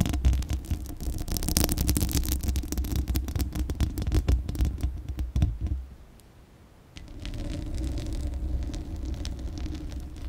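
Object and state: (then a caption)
Metal mesh microphone grille scratched with nails. Long acrylic nails scratch the bare steel mesh grille of a large, hollow condenser microphone while the hand covers much of the grille. The result is a dense, rapid, scratchy rasping over a heavy low rumble, with sharp bright clicks through the first six seconds. The sound then drops to near silence for about a second before resuming as a softer, steadier scratching rumble.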